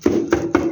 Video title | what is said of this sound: ขอบคุณมิตรแท้ที่ยังไม่แล้งน้ำใจค่ะ | เป็นเหล็ก เคาะปงๆปงๆ